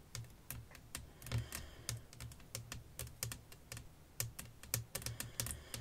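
Long nails tap across a flat, clear glass sheet laid over lace fabric. The result is a quick, uneven run of sharp, bright clicks, each over almost at once, with a soft low knock under them, much like fast typing on a keyboard.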